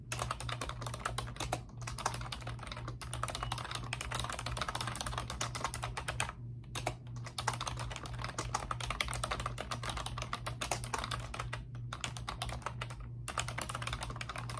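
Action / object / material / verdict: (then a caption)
tap / plastic computer keyboard / plastic / none. Both hands with long pink nails type rapidly on a pink plastic computer keyboard with round, backlit, typewriter-style keycaps. The result is a steady stream of crisp, bright clicks and clacks, broken by a few brief pauses, over a faint low hum.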